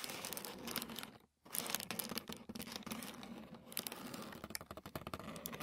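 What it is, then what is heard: Thin tissue paper. Fingertips and short nails scratch and tap a flat sheet of thin white tissue paper lying on a wooden table. Soft, bright papery crinkling and scratching continue with a brief pause near the start, then run into a quick patter of dry taps toward the end. The sound stays quiet and close, with no ring after each touch.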